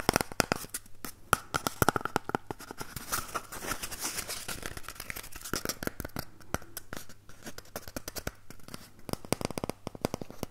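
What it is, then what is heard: Empty cardboard toilet roll tube. A single empty, hollow cardboard toilet paper tube is first scratched while held in both hands, then held upright close to the microphone and tapped or scratched with fingertips. The result is a dense run of crisp, dry papery clicks and scratchy rustles with no ring-out.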